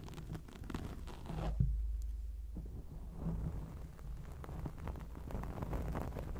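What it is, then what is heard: Foam microphone windscreen being scratched. Long acrylic nails quickly scratch a round grey foam windscreen on a microphone, making a dense, muffled rustling and crunching that is almost all low rumble with no bright content. The scratching runs continuously with brief swells. A louder thump comes around 1.6 seconds, followed by a quieter stretch before the scratching picks up again.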